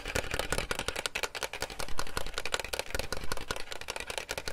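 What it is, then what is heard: Plastic toy clicking. Fingers tap a round, white and silver hollow plastic toy game and pull its red tab, making a rapid, continuous run of sharp clicks and taps. Each click is bright and broadband with a short hollow, low knock beneath it, and the clicking carries on steadily throughout.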